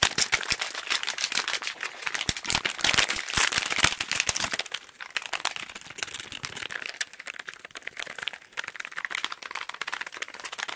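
A small, hollow pink cardboard package is held close to the microphone and tapped and scratched quickly with fingertips. Rapid, irregular, bright dry clicks and scratchy crinkles with almost no low end fill the clip, louder and denser in the first half, then softer and sparser after about five seconds.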